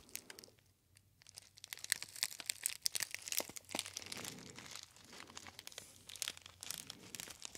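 A small, empty-looking gold metallized foil tea bag pouch with a paper label is crinkled and squeezed by fingertips close to the ear. A steady stream of bright, sharp crackles and crinkles plays at a soft level, with brief quieter pauses between bursts of handling.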